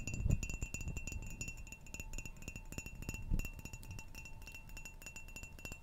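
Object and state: Ceramic mug tapped with nails.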